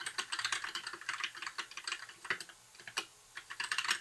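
A compact white 60% mechanical keyboard with plastic keycaps and an RGB backlight is typed on with the fingertips of both hands in continuous key presses. It gives rapid, bright plastic clacks centered around 1.8 kHz, each dying away almost at once. The steady run of keystrokes thins to a brief lull around the middle of the clip before picking back up.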